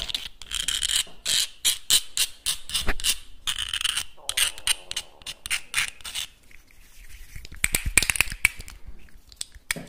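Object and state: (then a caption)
Clam shell. A small, hollow whole clam shell, about palm-coin size with both halves closed, is held in the fingertips and clicked and rubbed by the fingers. Rapid, bright, dry clicks alternate with stretches of softer scratchy rubbing, ending with a few sharp, close clicks.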